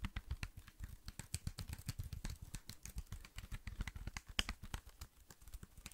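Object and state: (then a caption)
Plastic computer keyboard. A slim black plastic computer keyboard is held in both hands while fingertips tap and type fast on its keys. The result is a quiet, rapid stream of short, dry clicks with a soft low thud under each and bright, crisp tops, with almost no ring after each tap.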